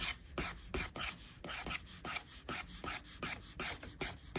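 A plastic stylus tip rubs in long sweeping strokes across a flat, solid iPad glass screen, probably with a matte surface, while inking hair. Thirteen quick, unevenly spaced strokes give a dry, bright rasping sound, each one short with little ring.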